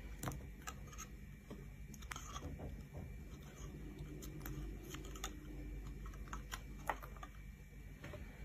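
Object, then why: Bar of soap scraped with a knife blade. A solid, rounded, hand-sized bar of pink soap is held in the hand while a metal knife blade scrapes and shaves thin slices off its surface above a pile of shavings. The scrapes sound as crisp, bright clicks and brief rasps over a low, steady background rumble.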